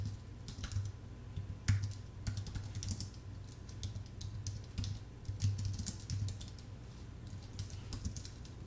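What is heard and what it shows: Fingertips type steadily on a full-size white Apple Magic Keyboard with an aluminium base and plastic keys. Quick, bright key clicks come in uneven bursts over a steady low hum near 100 Hz. The taps are short and dry, dying away almost at once.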